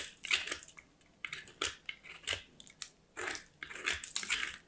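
A small, solid white soap bar is scraped in repeated grating strokes across a small steel box grater. Each stroke makes a bright, crunchy rasp with almost no low end, and the bursts come in uneven, short runs separated by brief quiet gaps.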